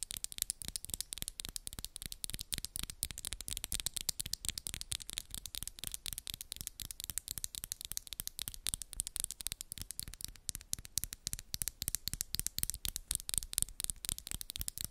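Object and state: Acrylic nails tapping and scratching.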